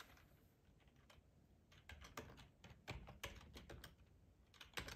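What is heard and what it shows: Fingertips of both hands type on a hollow black plastic ergonomic computer keyboard, tapping its keycaps. The keys give quiet, crisp, bright clicks in an irregular rhythm, each dying away almost at once over a faint low hum. The taps grow louder and more frequent toward the middle and end.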